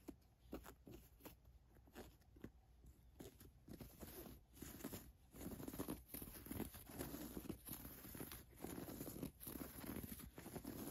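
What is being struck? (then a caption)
Cotton t-shirt with raised embroidered lettering. Long nails trace and scratch the embroidered MONEY lettering on a black printed cotton t-shirt. Soft, dry scratching and rubbing strokes with a papery, crinkly texture start quiet and grow busier and louder, with short brushing bursts coming at an irregular pace.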